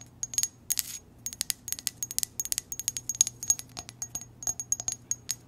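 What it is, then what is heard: Ceramic coffee mug. Long nails tap and scratch the sides and base of a hollow, empty white ceramic heart-pattern coffee mug as it is rotated in the hands. A quick run of light, bright clicks with a faint high ring is broken by a short brushy scrape near the start. Each tap dies away almost instantly.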